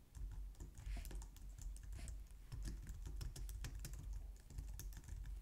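Long nails type fast on a white low-profile plastic computer keyboard, recorded close up. A steady stream of rapid clicky taps is heard, each with a soft low thump and a bright, crisp tick that dies away quickly.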